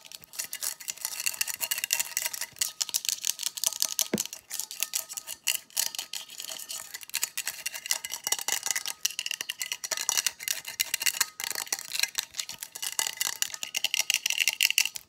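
Long pink acrylic nails tap and scratch quickly across the metal side of a hollow, hand-sized stainless steel insulated tumbler with a pink lid, held in both hands. The sound is a dense stream of bright, sharp clicks and scrapes with almost no low end. Each tap dies away almost instantly, with no ring.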